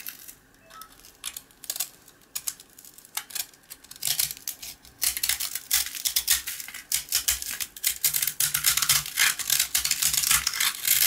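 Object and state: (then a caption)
Dry, crunchy rusk scraped with a blade. A box cutter blade scrapes a rectangular, dry, toasted rusk slice with a dark speckled coating, held flat in the palm, revealing the pale solid, crunchy rusk beneath. Sparse, quiet, bright scratches build after about four seconds into dense, louder, rapid, crisp rasping that stays mostly high-pitched with little low end.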